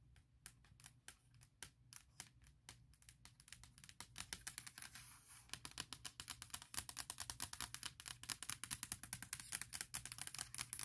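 Long nails tap and scratch around the Apple logo on the lid of a closed, large MacBook Pro with a hollow aluminum shell. Sharp, bright clicks with almost no ring start out sparse and quiet, then grow faster, denser and louder from about four seconds on, with a soft scratchy hiss filling the gaps between taps.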